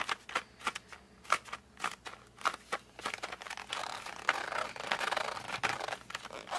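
Fingers grip the edge of a flat cardboard colored pencil box, then fingertips grip and rub its front cover. The first half has sharp, separated squeaky clicks with a tonal peak near 1.5 kHz. It then turns into a denser, continuous bright scraping and rubbing texture with little low end.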